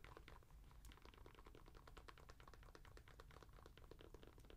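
Long nails tap quickly on the textured rubber outsole of an Adidas NMD sneaker, its dotted-pattern underside held close to the mic. The result is a fast, steady stream of short, dry clicks over a low, quiet rumble.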